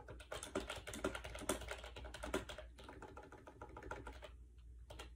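Fingertips type fast on a compact gray plastic AJAZZ 308i wireless Bluetooth keyboard with round white keycaps, resting on a bed. The hollow plastic keys give a rapid, uneven stream of clacky taps with a bright edge, over a steady low hum.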